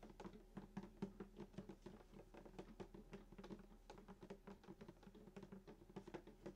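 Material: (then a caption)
Wood. Fingertips of both hands tap a fast patter on the hollow wooden top of a sunburst acoustic guitar lying flat, around the bridge. Each tap is a soft, short knock with a warm, hollow body resonance near 195 Hz that dies away quickly, and the strings ring faintly underneath.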